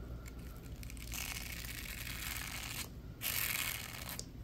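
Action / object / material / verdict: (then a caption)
scrape / plastic bristle brush / plastic / none. Latex-gloved fingers scratch and flick the bristles of a small purple plastic block with bristles and ridges. This makes dry, bright, crackling scratches in two sustained bursts over a steady low hum, the second burst louder than the first.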